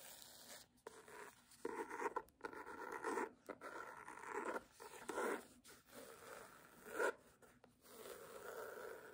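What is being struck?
Cloth-covered hardcover book.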